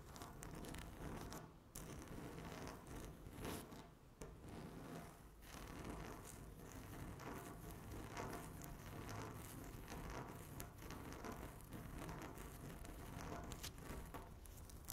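Long natural nails scratch across a flat, solid speckled laminate tabletop, making a steady, close scraping and rasping texture. The sound is mostly low-heavy with soft, dense strokes, and it stays at an even, quiet level throughout.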